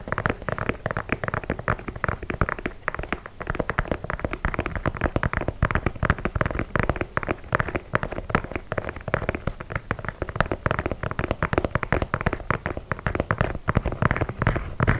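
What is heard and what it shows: Fingertips and nails tap and scratch the perforated leather toe and side of an empty white leather low-top sneaker held upright by the microphone. A dense, steady stream of short, dry taps and scratchy rustles continues throughout, weighted toward the low end with little brightness and almost no ring after each contact.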